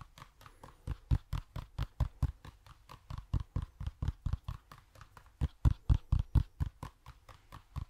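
A hollow toy pumpkin is tapped repeatedly, producing 34 quick, dull hollow knocks at an uneven pace of roughly two per second. Each tap has a deep thump with a lighter click on top and dies away almost instantly, with some taps noticeably louder than others.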